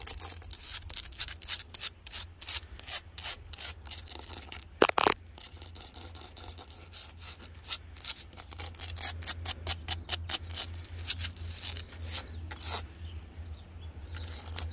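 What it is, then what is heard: Lichen-covered rock scratched. Long blue-polished fingernails scratch and fingertips rub across the rough surface of a large, solid outdoor rock covered with patches of pale lichen and moss. Dozens of quick, bright, hissy scrapes are heard over a steady low hum, with one louder knock near the five-second mark.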